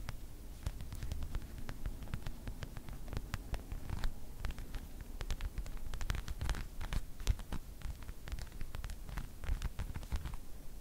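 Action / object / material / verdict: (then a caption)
scrape / padded faux leather display pillow / faux leather / none. A small, soft, stuffed white faux leather jewelry display cushion is held up and scratched and tapped with long white acrylic nails. Quick, dry scratches and crisp clicks of the nails sound steadily over a low, muffled rumble.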